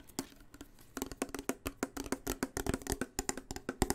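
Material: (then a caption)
Steel. Fingernails tap and scratch along the side and rim of a sealed, full blue Progresso steel soup can with a paper label, held close against the mic. About two dozen short, dry, close-up taps sound after a quieter, scratchy first second, each with a brief low-mid ring and a bright clicky edge, fading almost instantly.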